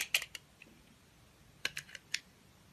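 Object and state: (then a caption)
Glycerin soap bar being shaved. A utility knife with a steel blade and green handle scrapes and shaves thin layers off a small, solid, translucent orange glycerin soap bar held in one hand. Short, crisp, bright scraping clicks come in two quick clusters with quiet pauses between them, each dying away almost instantly.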